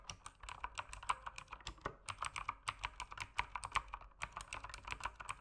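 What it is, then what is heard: Plastic mechanical keyboard. Fingertips type steadily on a mechanical keyboard with plastic keycaps, producing a fast, uneven stream of short, crisp clacks. Each keystroke is a bright, dry click centered around 1 kHz with little low end, and it dies away almost instantly.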